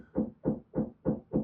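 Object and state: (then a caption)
Hollow drywall between studs. A hand knocks five times on a drywall wall as a knock test for finding studs. The knocks are dull and hollow, with a low tone around 200 Hz and very little ring. The hollow sound suggests there is no stud behind this spot.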